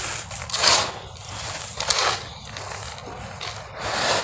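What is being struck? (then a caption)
Cement-sand clumps. Solid, crumbly clumps of dry grey cement-sand are scooped from a pile and crushed in cupped bare hands, then the powder is pushed and rubbed back into the same pile. The result is bright, gritty crunching and hissing grains that swell in several loud bursts, with softer scraping and rubbing between them.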